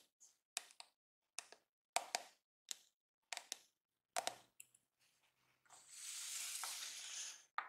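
Fingertips and short nails tap and scratch along the smooth pink back and flexible plastic bristles of a pink and yellow plastic detangling hair brush with a hollow body, held in one hand. Short, bright, dry clicks come in clusters and then give way to a sustained, hissy scratching swell, ending with one last tap.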